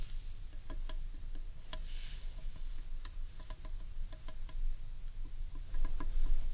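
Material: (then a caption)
Wood. Long painted nails tap on the underside of a large, hollow carved wooden bowl. The taps come as quick, uneven clicks, each with a short hollow ring, over a steady low rumble.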